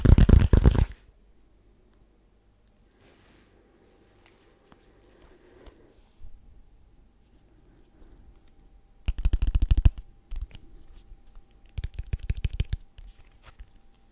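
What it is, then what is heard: Paperboard box tapped. A small, hollow, white rigid paperboard box is tapped slowly with the fingertips close to the microphone. A loud burst of dull, low thuds opens the clip, followed by a long quiet stretch with faint rustling. Two more clusters of hollow, boomy taps with soft crackly edges come near the end.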